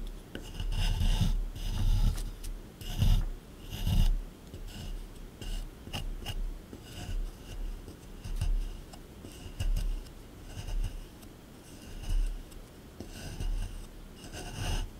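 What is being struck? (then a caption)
Plaster excavation block scraped with a small metal tool. A small metal scraper tool scrapes and chips at the surface of a solid plaster dig block sitting in a tray. Irregular gritty rasping strokes come in uneven bursts, each with a low thud and a dry, bright scratch, and gritty chipping runs throughout.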